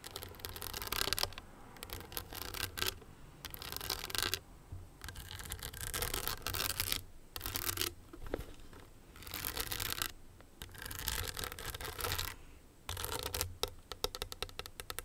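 A small hollow owl-shaped clutch covered in blue and green glass crystals set in a metal frame is rubbed and scratched with long nails. Bright, gritty scraping comes in bursts separated by short quiet gaps, with a low hum underneath.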